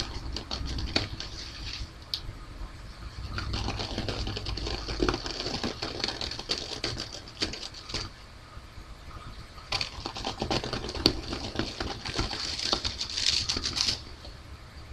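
A single folded white paper facial tissue lies flat on a purple mat while both hands hold its ends and stretch it, and long nails scratch and rub quickly along the thin, soft paper. The result is a dense, irregular stream of dry, bright scratching and crinkling with many short ticks, louder in a few bursts and quieter in between.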